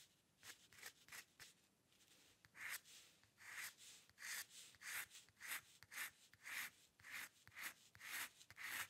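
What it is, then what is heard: Steel dip pen nib scratching on paper. A steel-nib dip pen with ink scratches dense hair lines across a flat sheet of white drawing paper resting on a dark table. Fifteen short, dry, bright scratching strokes sound in a loose rhythm, each centered around 1.3 kHz with hissy high detail and no low end. Each stroke stops dead with no ring.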